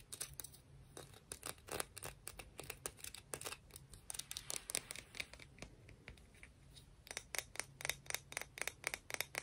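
A conch shell is tapped and scratched in a rapid, uneven series of short, bright clicks with very little ring. Soft scraping fills the gaps between taps, and the taps thin out briefly before picking up again near the end.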